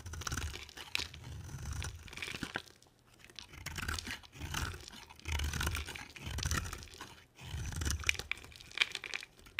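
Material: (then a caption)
Soap. A palm-sized, solid white bar of dry soap with an embossed edge is carved with a box cutter blade, sending flakes falling. Repeated crunchy, tearing scrapes swell and fade in waves, with a low rumble under bright crackly detail and brief quiet gaps between strokes.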